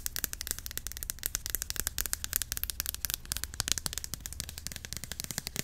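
A white Cantu curl activator cream bottle with a flip cap, about 350 ml, hollow and partly filled, is held upright and tapped quickly with long acrylic nails. Rapid, dense, crisp clicking taps with a bright, high edge and a faint low thud continue steadily throughout, each tap dying almost instantly.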